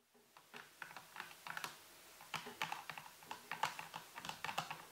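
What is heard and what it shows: Fingertips and nails of both hands type and tap on the keys of a full-size black plastic computer keyboard with a white base and hollow housing, resting on a table. A quick, uneven run of quiet, crisp clicks and taps, with a bright midrange clack and little low end, each dying away almost at once.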